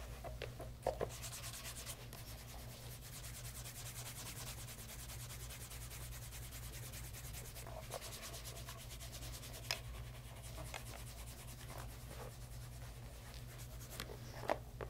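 Cloth-wrapped fingers rub polish over the vamp and side of a light brown pebble grain leather loafer fitted with a wooden shoe tree, held in hand and tilted. A steady, soft rubbing hiss runs throughout over a low, constant hum, broken by a few brief, sharp clicks.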